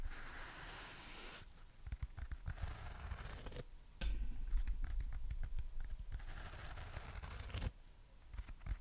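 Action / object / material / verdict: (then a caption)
scrape / foam sponge / foam / none. A yellow, dry, porous foam sponge shaped like a banana, with a hanging cord, is held and bent in both hands while long nails scratch and rub its surface. Dense, uneven scratchy crackles and soft rustling run throughout over a low rumble. A brief bright burst around the four-second mark makes the rest of the clip somewhat louder.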